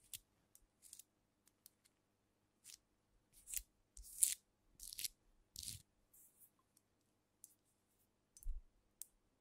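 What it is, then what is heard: Glass liquor bottle. Long nails tap a filled glass cognac bottle held bottom-up close to the mic, first on the cap end and then along the glass body. About fifteen quiet, irregular taps come through as bright, crisp clicks that die away almost at once, a few with a soft low thump underneath.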